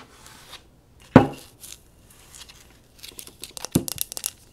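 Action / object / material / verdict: tap / small glazed ceramic pot / ceramic / none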